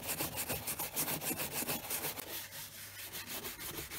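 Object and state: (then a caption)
Leather boot being brushed. A wooden-backed horsehair brush, held in the hand, sweeps in quick repeated strokes across the leather upper of a tan leather brogue country boot with a shoe tree inside. The result is a steady, bright scratchy rubbing with a fast, fairly even rhythm of brushing passes.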